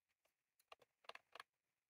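Both hands type rapidly with their fingertips on a full-size, retro-style plastic mechanical keyboard with round cream plastic keycaps and a plastic case, resting on a desk. A quick, uneven run of short, crisp clacks is heard, with bright key clicks, almost no low end and no ring after each tap. The typing builds to louder clusters of keystrokes in the middle before trailing off softly.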